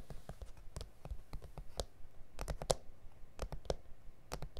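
Fingertips and nails tap and scratch across an A4 self-healing plastic cutting mat with grid lines, lying flat and solid on a surface. The result is a quiet, irregular run of short, dry clicks with a dull low thump and bright, crisp edges, each stopping almost at once.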